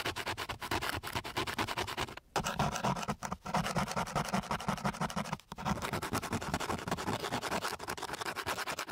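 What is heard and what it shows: The end of a flat wooden stick is rubbed back and forth across a flat, gritty sheet of coarse sandpaper. It makes a rapid run of dry, rasping scratches with a broad, bright texture, broken by a few brief pauses before the scraping resumes.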